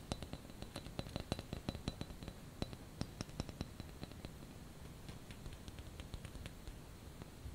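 A small white painted ceramic ice skate ornament is held in the hand and tapped with fingernails. The taps make quick, dry, bright clicks at an irregular pace, each one dying away almost instantly with no ring, over a quiet low rumble.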